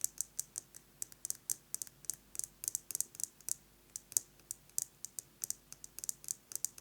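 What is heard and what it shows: Fingernails tap rapidly on a metal lipstick case, making dry, bright, high clicks that die away almost at once. Irregular clusters of quick taps run throughout, with a faint low hum underneath.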